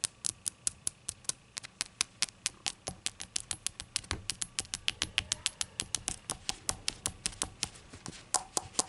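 Long acrylic nails tap a small, hollow, empty-looking ceramic novelty shot glass with a rainbow glaze and an unglazed labeled base, resting on a towel, striking both the glaze and the base. About 48 quick, bright clicks follow one another in a steady patter, each dying almost instantly with a faint high ring and little low end.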